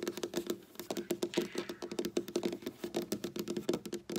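Long black nails on both hands tap quickly on a large, solid, flat dark wooden tabletop, with some nail scratching mixed in. The result is a rapid, uneven run of sharp, clicky taps, each dying away almost at once, carrying a faint hollow tone around 350 Hz over a soft, bright scratchy texture.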